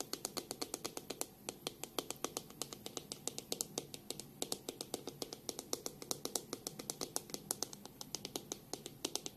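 Long pink nails tap on the back of a black plastic detangling hairbrush held in one hand and flick along its plastic bristles. About 69 quick, bright, dry clicks come in a fast, steady patter over nine seconds, each dying away almost at once, with a faint low-mid hum underneath.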